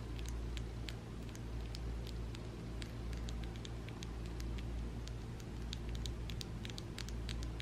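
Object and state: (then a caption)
Acrylic nails tapping. Long coffin-shaped acrylic nails with an ombre finish, small and solid plastic, are tapped and clicked against each other by the fingertips of both hands held above a white surface. Quick, bright, irregular clicks scatter over a steady low hum throughout.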